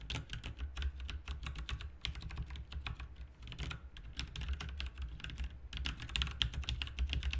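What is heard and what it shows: Both hands type with their fingertips on a backlit RGB mechanical keyboard with plastic keycaps. Rapid, continuous clacking keystrokes with a bright attack die away almost instantly, over a steady low hum.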